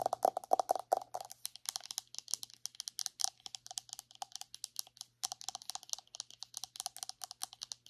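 Long acrylic nails tap rapidly on the lid and side of a round white plastic body butter jar held on its side. The dry, bright clicks stop almost instantly, with a hollow tone near 740 Hz that is strongest during the first second. The steady tapping pauses briefly just past the five-second mark and then resumes.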